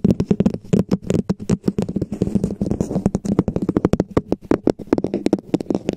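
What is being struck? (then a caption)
Plastic dome cap. Long nails tap and scratch a hollow red plastic dome cap fitted over a microphone. The result is a rapid, uneven stream of short, dull, hollow knocks with a low body around 200 Hz, mixed with soft scratching between them. Each tap dies away almost at once.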